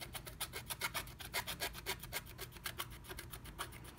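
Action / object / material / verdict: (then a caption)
scrape / wax-coated scratch art paper card / coated paper / none. A wooden stylus scratches a black-coated scratch art card under a blue stencil to fill in letters, flaking off the coating. Quick, uneven back-and-forth strokes make a dry, bright rasping scratch over a faint low background hum.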